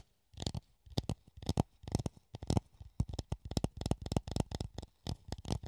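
A hollow clear plastic funnel held in the hand is scratched and tapped with the nails, giving a run of short, dry taps and scratches in quick uneven clusters. The sounds are mostly low and hollow with brief bright edges and no ringing tail.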